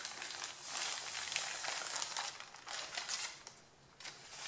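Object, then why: Stack of thin printed paper sheets. Flat hands and fingertips rub and scratch across the crinkled top sheet of a stack of thin white printed pattern paper and lift pages off. The result is a bright, papery crinkling and scratching with irregular swells and brief crackles, mostly in the high range with almost no low end.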